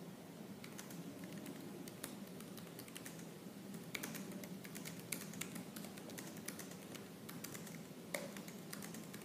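Fingertips with purple nails type fast and aggressively on the black plastic keys of a silver laptop keyboard. A dense, steady stream of light, bright clicks runs throughout, with a few sharper, louder key strikes standing out. Underneath sits a constant low-pitched background hum.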